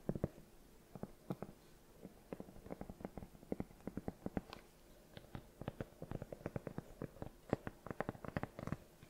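Long nails and fingertips tap and scratch the solid, treaded rubber sole of a cream sneaker held up by its sole. A quiet, rapid run of short, dull, low-pitched taps follows in uneven clusters, with faint scratchy brushing between them and almost no brightness or ring.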